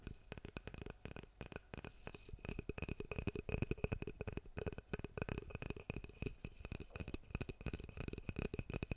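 A large oval hairbrush with a solid reddish wooden back and handle and dense dark bristles is held in the hands close to the mic and tapped with the fingertips on its wooden back and handle. The result is a rapid, continuous flurry of soft, dull, low-heavy knocks, each dying away almost instantly, over a faint steady tone.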